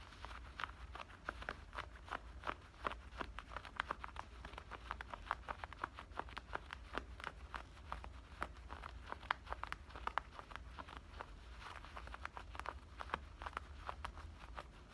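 Fingernails on both hands scratch and rub black denim shorts near the waistband and pocket seams. The result is a dense, quick run of short, crisp scratches with a bright edge, repeating steadily over a faint low hum.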